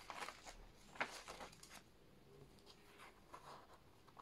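Thin handwritten pages of an open paper notebook lying on a desk are lifted and turned with the fingertips, rubbing and flipping paper against paper. Soft, bright rustles and crinkly swishes come and go, with one sharper flip near the one-second mark, over a quiet background.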